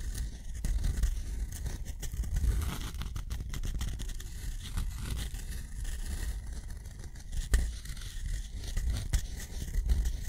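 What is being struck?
Steel pen nib on thick cotton paper.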